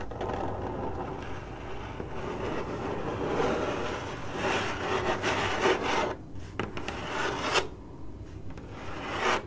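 Long acrylic nails scratch across a hollow, printed corrugated cardboard box, making a steady, dry rasping scrape. Partway through, the scratching grows louder and brighter in quick, uneven strokes, broken by short pauses, before a final sharp flurry.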